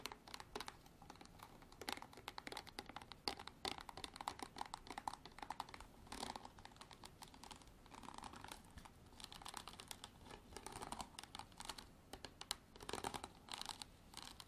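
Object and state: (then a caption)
Hard plastic bottle. A hard plastic bottle is tapped and scratched with long artificial nails for ASMR. Rapid, dry clicking taps and bright scratching come in quick, dense bursts. The sound is light and crisp, with little low end and a short ring.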